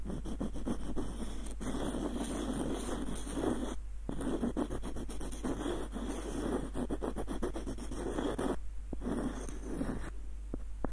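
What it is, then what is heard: Wooden screw nutcracker. Fingernails scratch along the ribbed threads of the screw and over the body of a small, hollow, light-wood screw nutcracker, making dense, rapid, raspy scratching in steady bursts. The bursts break briefly near 4 seconds and around 9 seconds, then taper to a few soft ticks at the end over a constant low hum.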